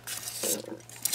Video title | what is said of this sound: Super Easy Black Powder from Home Made Charcoal | that's the sound of pure pure charcoal